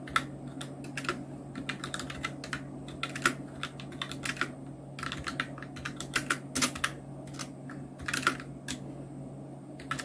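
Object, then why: Plastic mechanical keyboard. Continuous two-handed fingertip typing on a full-size black Nubwo Illution NK-70 mechanical keyboard with Outemu red switches, round plastic keycaps and blue backlight. The result is a steady stream of quick, bright plastic clicks and clacks, with some louder bursts of keystrokes, over a low, steady hum.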